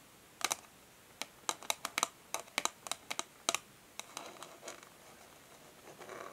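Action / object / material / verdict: tap / printed cardboard packaging sleeve / cardboard / none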